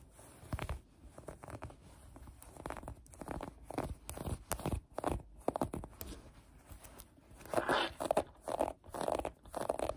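A maroon Hollister cotton-blend sweatshirt is bunched on a table and scratched with long painted acrylic nails. Soft, dry scratching and rustling strokes come in uneven bursts, with brighter, denser crinkly scraping toward the end.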